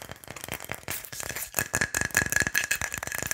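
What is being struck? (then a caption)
Wooden pilón mortar. Fingernails tap quickly on the body of a hollow wooden pilón mortar. The dry, clicky taps come in a rapid, uneven run and grow louder in the second half, with a faint ringing tone near 1.7 kHz.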